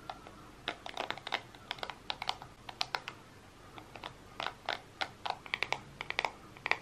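Fingertips and nails scratch and rub the bristles of a hand-held, solid black plastic paddle hairbrush with many bristles. The result is a quick, uneven run of sharp, bright clicks and ticks, each dying away almost at once over a faint hiss.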